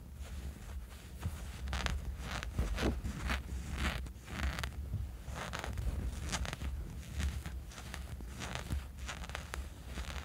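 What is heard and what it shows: Fingernails of both hands scratch a small dark fabric sleeping eye mask resting on a sheet, making quick, dry, scratchy rustles that swell and fade in uneven bursts. A steady low hum runs underneath throughout.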